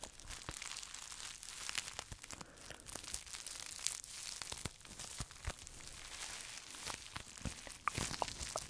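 A small, hollow, empty pink plastic bubble wrap pouch is crinkled and pressed with fingertips and scratched with short nails. The result is a quiet, steady stream of bright crinkling and crackling, dotted with many sharp, dry clicks that stop instantly.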